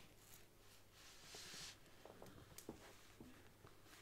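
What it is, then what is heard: Faux leather covered book. Long nails tap the embossed front cover of a large brown faux leather Bible, first lying flat and then stood upright. Quiet, soft clicking taps are heard over a low hum, with a brief bright rustling swish partway through.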